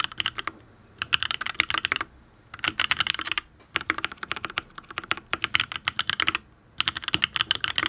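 Fingertips type on a full-size custom Matrix Ablex Penpen mechanical keyboard with an aluminium case, ABS keycaps and Tealios V2 linear switches. Five bursts of rapid, crisp key clacks are separated by short pauses. The clacks are bright and dry, centred around 2 kHz, with almost no low end and no ring.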